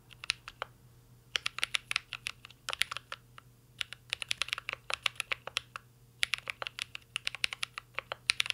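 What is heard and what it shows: A full-size mint-green Cyberboard R3 mechanical keyboard with a metal case, plastic keycaps and Holy Panda switches rests on a desk while two hands type steadily on it with their fingertips. The result is bursts of sharp, bright key clacks with almost no ring, separated by short pauses.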